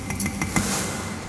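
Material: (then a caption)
Metal. A frozen water pipe in a house at -7 degrees is tapped four times, giving short knocks with a faint ringing tone around 200 Hz over a low background rumble. The pipe is frozen and has cracked, yet it still holds water.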